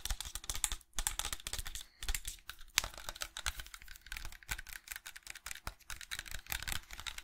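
A small hollow white plastic bottle or tube of unknown fill level is held close to the microphone and rapidly tapped and scratched with fingernails, with rings on the fingers. The result is a dense, continuous stream of short, dry, bright clicks and scratchy rasps over a soft low thump, with brief pauses near the one- and two-second marks.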